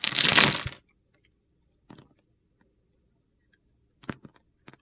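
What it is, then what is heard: Bar soap shaved with a knife. A metal utility knife blade scrapes a solid green bar of soap held in the hand, shaving off flakes in one long, bright, gritty scrape lasting under a second. Quiet follows, broken by a few short, crisp crackles and clicks.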